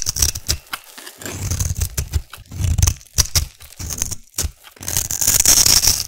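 A metal blade carves and scrapes a solid black soap cube with a scored top, held in the other hand. It makes a rapid, uneven series of bright, gritty scraping and crunching strokes with short cracks over a low, rumbling body. The scraping grows denser and hissier toward the end.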